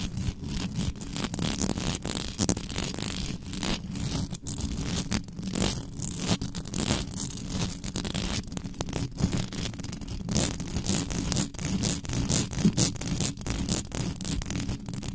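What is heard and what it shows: Long pink nails scratch quickly across the hollow metal mesh grille of a black condenser microphone, with the hands moving around the head. A dense, continuous run of crackly scraping with a low rumbling hum underneath and bright, sharp scratch edges on top.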